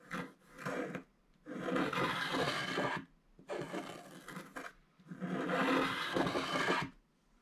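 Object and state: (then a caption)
Scratch-art card scraped with a wooden stylus. A wooden stylus scrapes a wide area of black wax coating off the gold foil surface of a flat scratch-art card with continuous strokes. A series of dry, rasping scraping strokes, some short and some lasting over a second, is separated by brief pauses and carries a gritty, bright texture.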